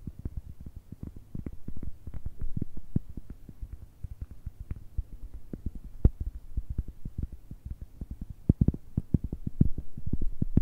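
A round, solid, palm-sized cork coaster is tapped and scratched with long red nails across its textured surface. The result is a dense, irregular stream of soft, dull, low thuds that die away almost instantly, with faint scratchy texture between them and almost no bright ring.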